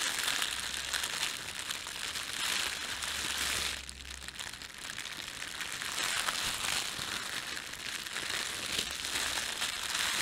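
Hands bunch up and crumple a thin, red-and-white printed plastic bakery bread bag, producing dense, bright crinkling and crackling throughout. The rustling eases briefly around the four-second mark, then builds back to steady crinkling until the end.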